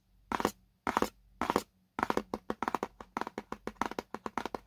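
Fingernails scratch across the printed white spec label on the side of a small, hollow paperboard product box held in both hands. Three slow, drawn-out scratches are followed by a quicker run of short, crisp strokes, each a dry, papery rasp with a bright edge and no lingering ring.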